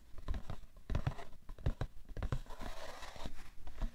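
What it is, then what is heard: Cardboard tissue box, tapped and scratched. A rectangular printed cardboard box of facial tissues (Shisara, 90 count), hollow and likely full of tissues, rests on a fur rug and is tapped and scratched with fingertips and medium manicured nails. Dull, low thumps with very short decay mix with dry scratching, and a brighter, hissing scrape rises in the middle of the clip. The taps stay soft and deadened throughout.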